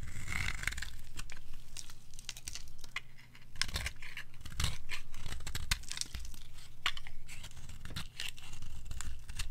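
A palm-sized, black-and-white striped bar of dry soap is held in the hand and shaved into flakes with a metal blade. Repeated scraping and tearing cuts with crisp, brittle crunching sound out in irregular strokes over a steady low rumble.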